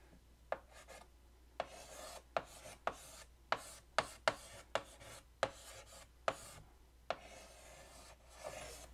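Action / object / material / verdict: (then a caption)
scrape / chalk on a wood-framed chalkboard / chalk / none. A stick of white chalk, held in the fingertips, writes on a large flat black chalkboard in a light wooden frame hung on a wall. Eleven sharp chalk taps each start a dry, scratchy stroke with a bright rasp. A longer, softer scrape closes the clip.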